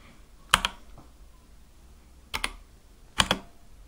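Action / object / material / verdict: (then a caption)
tap / mechanical keyboard with plastic keycaps / plastic / none. A compact Akko mechanical keyboard with white and light-blue plastic keycaps on a dark case is tapped with sparse fingertip keypresses. Six sharp, bright plastic clicks come in three closely spaced pairs and die away almost instantly, with quiet gaps between them.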